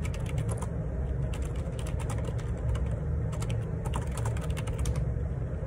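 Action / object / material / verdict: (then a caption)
tap / plastic computer keyboard / plastic / none. Fingertips type rapidly on the plastic keycaps of a black Perixx Periboard 612 wireless Bluetooth ergonomic split keyboard with a hollow plastic housing, lying on a grey laminate desk. A dense, continuous stream of quick, bright clicks and clacks runs over a steady low rumble.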